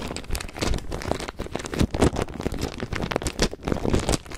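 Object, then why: Plastic zip bag of plastic pearl beads. A small clear plastic zip bag with a price tag, full of white plastic faux pearl beads of mixed sizes, is held in both hands and squeezed, rubbed and shaken with the fingertips. The beads clack against each other in dense, irregular bursts inside the crinkly bag, mixed with the rustle of the plastic.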